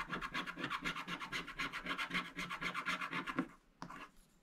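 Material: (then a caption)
Coated paper. A wooden stick scratches away the black wax coating of a scratch-art paper page in quick, repeated back-and-forth strokes, about four per second, each a dry, bright rasp. The strokes stop after about three and a half seconds, followed by one last short scratch before the sound fades.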